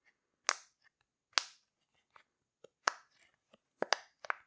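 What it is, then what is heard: Silicone pop-it fidget toy. Fingertips push the bubbles through a rainbow heart-shaped silicone pop-it fidget toy. Six sharp, bright snapping pops stand out, each with a very short tail, and softer clicks fall between them.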